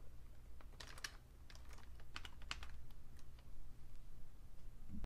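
Fingertips type on a vintage beige Fujitsu Siemens full-size plastic keyboard with a hollow case, producing short, bright clacking taps in irregular bursts. A steady low hum runs underneath throughout.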